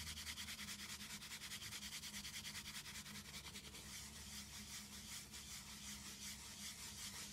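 Long green nails scratch and rub a small, hollow brown cardboard box in rapid, steady back-and-forth strokes. The sound is a dry, bright scraping texture that pulses evenly throughout, with a faint low hum underneath.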